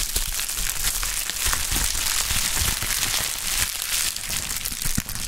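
A pink plastic bubble wrap sheet is crushed into a ball in gloved hands and then pressed and squeezed. A dense, continuous crinkling and crackling runs throughout, bright and hissy, with scattered sharper pops and low thumps from the handling.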